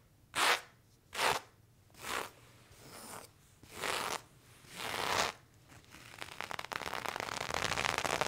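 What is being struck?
Cotton denim fabric.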